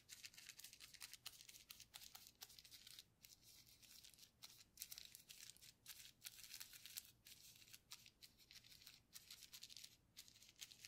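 A paintbrush wet with orange paint is rubbed and dabbed over a flat, partly painted sheet of clear plastic bubble wrap with air-filled bubbles, lying on a white table, while a gloved other hand holds a paint bottle off to the side. The sound is a quiet, bright, crinkly scratching and swishing that runs continuously in uneven bursts, with almost nothing in the low end.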